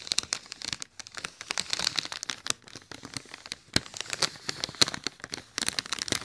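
Fingertips and nails scratch and tap the wrinkled surface of a large, hollow, inflated silver mylar foil letter balloon. The result is a dense run of bright, crisp crinkling and scratching, broken by sharp, quick-decaying taps, with almost no low end.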